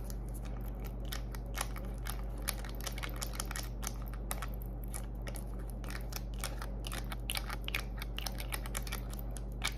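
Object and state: Plastic cosmetic tube.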